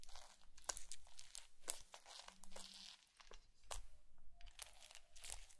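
A bamboo fork is poked repeatedly into a patch of blue foam bead slime on a white plate, leaving a dimpled surface. Quiet, dense crackling and crunching pops come from the beads with each poke, with bright crisp snaps over a soft low rumble.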